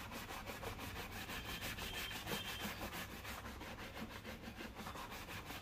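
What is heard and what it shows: A black leather loafer is held in one hand while a wooden-backed bristle brush is rubbed along its side and toe. The result is a steady, rhythmic brushing hiss with quick back-and-forth strokes, bright in its upper range, over a low background rumble.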